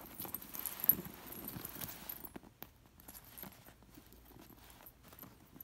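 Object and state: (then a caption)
Sequined pillow scratched with nails. Long nails scratch the sequined edge and metal discs of a white sequined fabric cushion, making a dense, bright rustling and clicking for about two seconds. It then thins to softer, scattered scratches and light ticks, with a faint high shimmer throughout.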